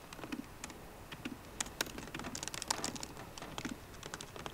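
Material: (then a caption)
Plastic. Fingertips with short painted nails type rapidly with both hands on the low-profile black plastic keys of a 13-inch MacBook Pro with a grey aluminium body, resting on a wooden desk. Quick, bright clicky taps come in an uneven stream of about 23 hits, each dying away almost instantly, with a faint low thump under some strokes.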